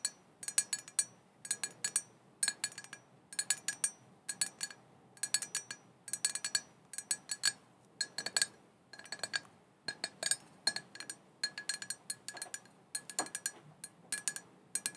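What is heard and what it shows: Long painted fingernails tap the sides and rim of a small, hollow, black glossy glass cauldron printed "Witches Broth," which is open with no lid and looks empty. Quick bursts of bright, glassy clinks come in rhythmic clusters separated by short pauses. Each tap is high-pitched and dies away almost instantly.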